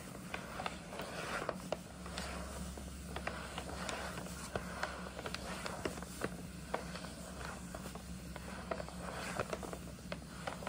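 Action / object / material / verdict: tap / paper gift bag / paper / none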